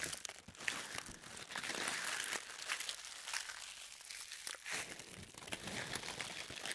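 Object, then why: Thin tissue paper sheet. A thin sheet of white tissue paper is balled up in the hands, then squeezed and crumpled with the fingertips and long nails. The result is a steady, dense crinkling with sharp crackles scattered throughout. It sounds bright and papery, with almost no low end.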